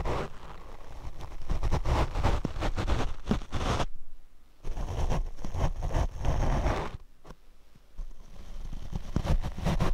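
Large paint brush bristles are brushed across the black foam windscreen of a Rode microphone, making dense, rumbling, scratchy strokes heavy in low frequencies. The brushing comes in bursts, with two short quieter pauses before it resumes.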